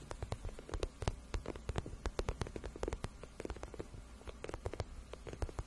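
Long nails scratch and tap on the soft, hollow shaft of a glossy pink patent vinyl boot. A quiet, rapid series of short, dry clicking taps rises over a low, rumbling scraping, with crisp, bright ticks and no ring after each hit.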